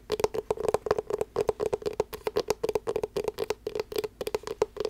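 Long black nails tap and scratch a small, closed blue rubber-coated hard-shell glasses case, hollow inside. About 29 quick, dry taps land in an irregular flurry, each a short hollow knock centered near 430 Hz that dies away almost at once. Light bright scratching clicks sit between them.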